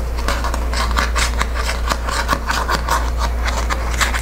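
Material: Paper.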